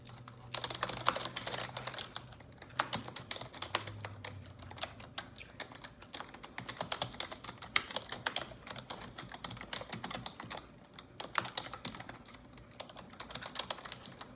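Long neon-yellow nails type steadily on the keycaps of a black plastic computer keyboard. The result is a continuous run of sharp, bright taps and clicks with almost no ring, over a faint low hum in the first few seconds.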